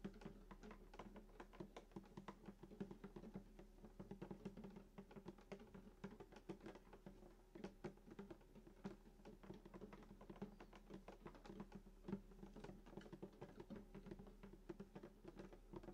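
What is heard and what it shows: Fingertips of both hands drum fast on the hollow wooden soundboard of a sunburst acoustic guitar lying flat, near the bridge and lower bout. A steady stream of quick, soft, hollow taps is heard, each with a short woody resonance centered around 195 Hz that dies away almost at once. The overall sound is quiet and low.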